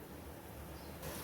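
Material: Nothing is struck.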